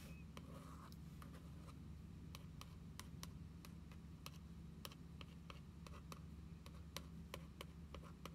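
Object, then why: Spiral-bound paper book with laminated card cover. Long acrylic nails tap and trace across the glossy dark-blue and gold laminated card cover of a small, closed, spiral-bound paper National Parks passport book lying flat on a wooden table. The result is a steady series of quick, bright, clicky taps with faint scratchy tracing between them, all over a constant low hum.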